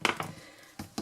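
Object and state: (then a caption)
Hard, baked-through dog kibble. Pieces of homemade dog kibble made with beans, carrots and beef, baked at 80 degrees for about 25 to 30 minutes, are handled and knocked together. Four sharp, bright clicks ring out briefly, the first pair close together and two more spaced later. The kibble is very hard and baked through.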